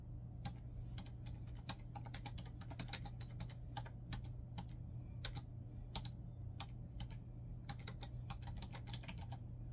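Both hands type with their fingertips on a black plastic laptop keyboard resting on a bed, producing steady, quick, bright key taps that stop short. A constant low hum sits underneath the clicking throughout.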